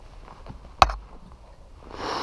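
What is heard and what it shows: A mini motorcycle's fuel tank is checked by sound after the bike stalls and is suspected to be out of gas. One sharp, short hollow hit rings briefly around 770 Hz against a low background, followed by a rising broadband hiss near the end. The tank sounds empty and needs gas.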